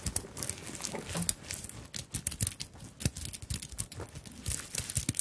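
Long nails scratch and tap across a small, soft fabric handbag covered in sequins and bead flowers. The result is a quiet, dense run of crinkly scratching mixed with bright, sharp clicks and soft low taps, with no ring after each contact.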